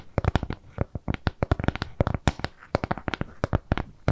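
Long nails scratch and tap a flat, round, brown kraft cardboard shape with jute trim. The result is a quick, uneven run of short, dry taps and scrapes, with a low, dull body and crisp edges that stop almost instantly.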